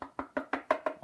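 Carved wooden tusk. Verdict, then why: Hollow. Seven quick knocks move along a carved wooden tusk replica that has been hollowed all the way through with a very thin wall. Each knock gives a short, hollow, midrange tone that dies away almost at once.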